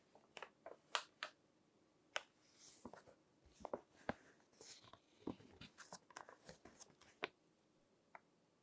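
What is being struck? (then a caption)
Glossy paper magazine. Fingertips turn the pages of a thick, crinkled glossy paper magazine resting on a table and rub the paper. The result is a quiet, irregular series of sharp, bright crackles and crunches with soft rustling between them.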